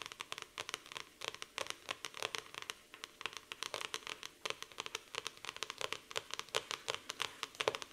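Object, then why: Laminated cardboard notebook cover. Long nails scratch across the glossy laminated cardboard cover of a black floral hardcover notebook resting on a table. The scratches come as a dense run of short, dry, bright strokes with no low end and almost no ring.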